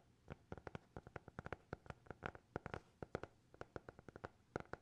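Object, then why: Hardcover notebook. A small, closed black hardcover notebook with a TikTok logo is held close to the mics and tapped and scratched with fingertips and nails. About 30 quiet, dry taps come in a quick, uneven rhythm, each a short knock with a soft thud and mid-pitched body that dies away almost instantly.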